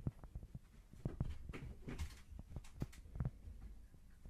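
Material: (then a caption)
Cork. A small, thin, solid square cork board held close to the mic is scratched with long nails, giving dull low thumps and bumps alongside soft, brief scratching bursts that carry into the high range. The sound is quiet and bass-heavy, with short strokes that die out almost immediately.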